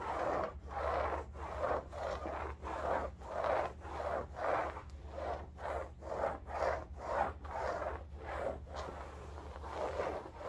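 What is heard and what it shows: Long nails scratch and rub back and forth across a large, soft-filled cylindrical upholstered bolster pillow covered in striped woven fabric. The result is a steady run of dry, rasping scratch strokes, roughly one every half second, with a soft midrange texture over a faint constant low hum.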